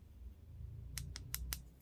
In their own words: quand la résine est sèche le bruit n'est pas sourd on entend bien toc toc